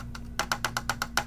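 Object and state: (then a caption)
Solid sturdy plastic toy trailer. Eight quick taps, the first one faint, on the sturdy plastic trailer of a BTS-01 Transformers Classics Optimus Prime toy give short, dry, wood-block-like clicks with a bright knock around 1.5 kHz and almost no ring. The trailer sounds fairly solid rather than flimsy, though not as stern as the City Commander. A steady low hum runs underneath.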